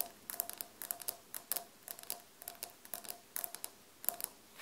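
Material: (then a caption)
Ceramic. Long dark-painted nails tap and scratch on solid beige glazed ceramic floor tiles, with the hands staying clawed on the surface beside an untouched recorder on the floor. About twenty quick, bright, dry clicks come in irregular clusters, each carrying a faint mid tone and dying away almost at once into a quiet background.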